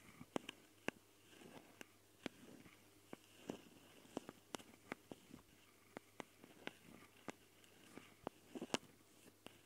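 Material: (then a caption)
Metal mesh. Long painted fingernails of both hands scratch and tap the metal mesh grilles over the X/Y microphone capsules, set in plastic housings, of a small Tascam recorder. Close, dry clicks and sharp taps cut through soft, rustling scratches, with a steady low hum underneath.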